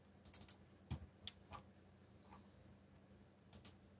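Fingertips tap the keys of a backlit black plastic mechanical keyboard while typing, producing a sparse run of short, sharp clicks with bright tops and quick decay. Quieter pauses separate the keystrokes over a faint steady low hum.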